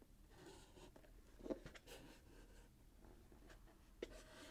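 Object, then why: Wrapped cardboard box. A fingertip and nail scratch the gold glitter-striped wrapping paper near the satin bow of a small, closed, hollow cardboard box held in the hands. The result is a quiet, dry scratching and rubbing with a soft papery rasp. A couple of sharper ticks stand out, one near the middle and one near the end.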